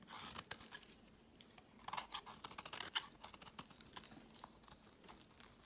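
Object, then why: Bar of soap scraped with a blade. A utility knife blade scrapes long shavings off a pale yellow solid bar of soap, making quiet, dry, crisp scraping and crackling sounds. The sound is mostly bright and high, with short sharp ticks and a few louder snaps over a soft hiss.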